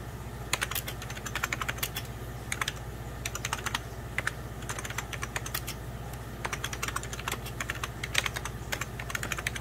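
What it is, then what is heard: Plastic computer keyboard. A beige 1990s Packard Bell hollow plastic computer keyboard is typed on with the fingertips of both hands. Quick, bright plastic key taps patter in uneven bursts over a steady low hum, each click dying away almost instantly.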